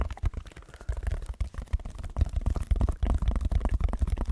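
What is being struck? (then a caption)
Textured foam block. Fingertips scratch a red textured foam block held in front of the microphone, making dense, irregular, low rumbling scrapes. The energy sits almost entirely below 200 Hz, with quick overlapping strokes that grow louder partway through.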